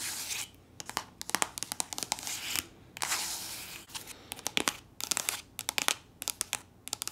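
Long nails scratch and rub the surface of a soft plastic body lotion tube that appears full. Bursts of bright, crinkly rubbing swishes alternate with quick series of sharp scratching clicks, all high-pitched with almost no low end and no ring after each stroke.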